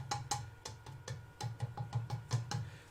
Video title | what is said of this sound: The Hollowing of the Vase | you can hear by tapping you know if your tone is similar